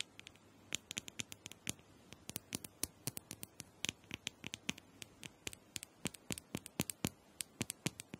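Long nails tap and scratch the surface of a small, hollow, purple plastic dome massager held in the hand. They make around 46 quick, dry, bright clicks at an uneven pace of roughly four per second. Each click dies away at once over a faint, steady hiss.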